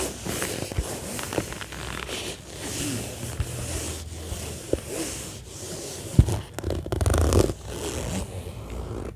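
Long nails scratch with both hands across the top of an orange padded fabric zippered case lying flat. Steady, soft rustling scratches run throughout, with a few sharper scrapes standing out, one sudden peak around six seconds and a louder burst of scratching just after.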